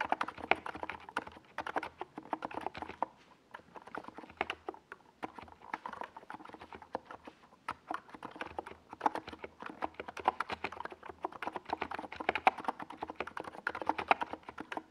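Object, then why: Mechanical keyboard with tall plastic keycaps. Fingertips of both hands type steadily on a NiZ Plum Atom 68, a compact 68-key mechanical keyboard with a white plastic case and tall purple and yellow Domikey Gas Attack SA plastic keycaps, resting on a desk pad. The result is a dense, uneven stream of short, hollow clacks centered in the midrange around 770 Hz, with occasional louder key strikes. Each tap dies away almost instantly with no ringing.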